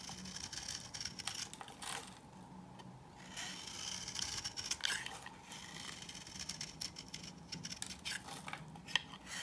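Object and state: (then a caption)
Dry bar soap being cut. A knife scrapes and cuts thin layers off a hand-held, solid, dry coral-pink bar of old soap. The sound is a dense run of crisp, dry scraping and crackling with many quick, bright ticks. It eases into a softer, smoother scrape for a moment early on before the crunchy cutting picks back up.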